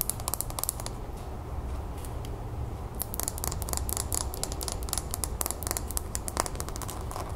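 A small clear glass cylinder planter filled with soil, pebbles and a succulent is held in the hands and tapped and scratched on its glass wall with long nails. Rapid, short, bright clicking taps come in uneven bursts, denser in the second half, mixed with soft scratching. A steady low rumble sits underneath throughout.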